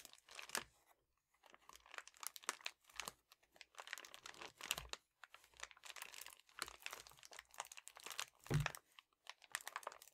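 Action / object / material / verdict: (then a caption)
scrape / metallic foil padded bubble mailer / metallic foil / none. A red metallic foil padded bubble mailer lying on a table has its edge pinched and crinkled while its surface is scratched with a fingertip and a painted nail. The result is quiet, bright, dense crinkling and crackling in irregular bursts with short pauses, plus a few soft low thumps.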